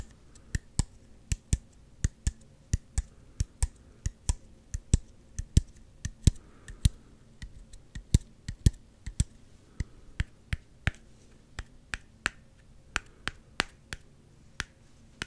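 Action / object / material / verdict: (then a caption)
tap / plastic squeeze bottle / plastic / none. Fingernails tap quickly on the body and orange G-logo cap of a small, hollow, clear plastic Gatorade squeeze bottle. About 39 sharp, dry clicks sound with almost no ring, over a faint low hum.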